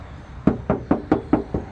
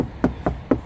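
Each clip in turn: First: Six quick knuckle knocks with a low, short thump; a sheet-metal car body panel. Second: Four dull, flat knocks around 270 Hz with no ring, the sound of a fiberglass panel rather than metal.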